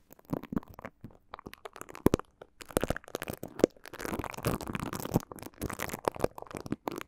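Two plastic mascara spoolie brushes held in the fingers rub and brush across the slotted grilles of two small, hollow, hand-sized cylindrical metal microphone capsules on an X/Y stereo mic head. The result is close, scratchy rustling and crackly bristle strokes that come in quick irregular bursts, with a denser continuous brushing stretch in the middle. The sound is mostly mid-toned with a soft low rumble underneath.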